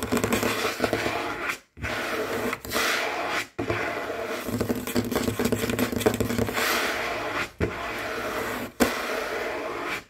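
Fingertips and short nails of both hands tap and scratch fast in claw-like motions across a large, solid, dark wood or wood-look tabletop. The result is a dense, continuous rustling scrape with a warm midrange body and a bright edge. It breaks off into short silences a few times before starting again.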